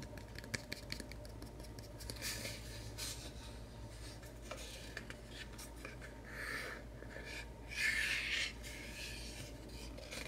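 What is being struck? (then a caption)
Small plywood box. A small, light plywood craft knife box, closed and hollow, is held in the hands and scratched and rubbed with short fingernails. Quick, irregular scratches and dry rubbing strokes make a bright, hissy texture over a faint steady low hum. Two longer, louder rubbing passes come near the end.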